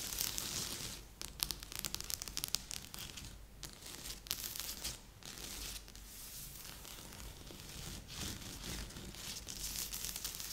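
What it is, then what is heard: Cardboard jigsaw puzzle. Fingertips and nails of both hands scratch and rub across a large assembled cardboard jigsaw puzzle lying flat on a board. The result is a steady, bright, papery scratching and rustling with crackly texture and frequent sharp little ticks, rising and falling in brief louder bursts.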